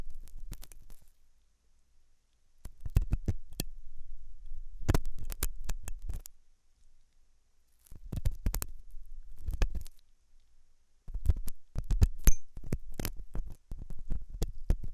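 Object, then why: Silicone dummy ear scraped with a metal pick. A thin hooked metal dental tool scratches inside the ear canal of a white, soft, solid-looking silicone dummy ear on a binaural microphone. Bursts of close, dry scraping and scratching crackles alternate with short quiet gaps. The sound is dominated by low, muffled rumble, with sharp clicks cutting across it.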